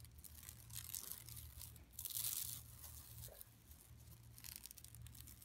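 Long nails scratch across the textured surface of a flat, empty yellow woven plastic mesh tote bag lying on carpet. The scratching comes as a quiet run of dry, bright, raspy strokes over a steady low hum, swelling into its loudest and harshest stretch just past the two-second mark before easing back to lighter scratches.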